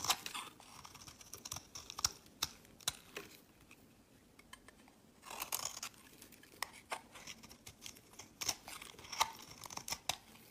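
A knife shaves curls and crumbs off the corner of a solid tan-olive soap bar held in the hand. The result is a quiet string of crisp, bright scraping and cutting clicks with very little low end. A short lull falls near the middle before the shaving picks up again.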